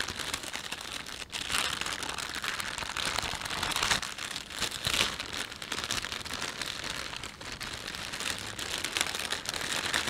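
Hands crumple and rub a thin, empty panda-print plastic shopping bag. The result is a continuous, bright crinkling and crackling that rises and falls for about ten seconds, with a brief lull near the start.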